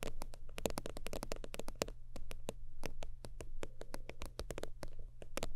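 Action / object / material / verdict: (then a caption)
tap / synthetic-leather zip wallet / faux leather / none. Long nails rapidly tap and scratch the creased top surface of a holographic faux-leather zip wallet lying flat. The result is a fast, irregular stream of short, dry clicks with a faint hollow tone around 470 Hz, over a steady low rumble.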